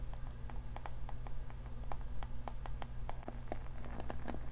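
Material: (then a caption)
Plastic. Fingernails scratch and strum the bristles of a navy-blue plastic paddle hair brush with a cushioned bristle pad. A quick, uneven series of short, dry ticks and plucks is heard over a steady low hum, with each click dying away almost at once.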